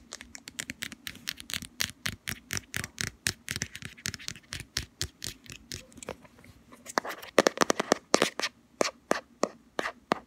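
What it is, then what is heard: Plastic cosmetic jar. Long fingernails rapidly tap the lid of a round plastic Body Shop Hemp body cream jar and scratch along its black rim. The result is a quick, dry series of bright clicks and scrapes, centered around 540 Hz with crisp high edges. It grows louder and denser after the seventh second.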